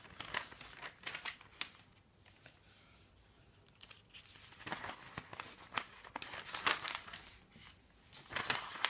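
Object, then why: Thin paper phone book pages. Fingertips turn the thin pages of an open paper phone book on a wooden table, and the palm sweeps them flat. The sound is quiet, bright, crisp rustling and crinkling in short bursts, with calmer stretches between page turns and almost no low end.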